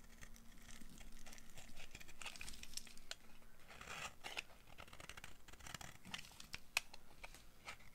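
A solid, dry, oval pink bar of soap is held in the hand and shaved with the blade of a yellow-handled utility knife. Quiet, dry scraping strokes give a crisp, crumbly crackle with a bright edge, rising and falling in short bursts, with one sharper snap near the end.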